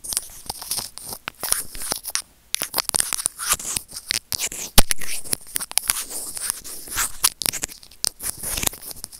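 A small, hollow white plastic earphone mic remote is scratched with white plastic tweezers, producing dense, crackly scraping and bright clicking with a dry, close sound. The scratching runs almost continuously for about nine seconds, with a brief silence just after two seconds and a sharper, louder burst near the five-second mark.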